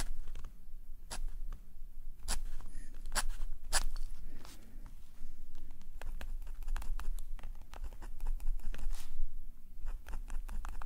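A metal nib pen scratches small, repeated strokes in the same spot on a black paper sketchbook page, held in a steady hand. Dozens of short, dry scratches and taps sound over a faint low hum, each stroke a quick bright tick that dies away at once.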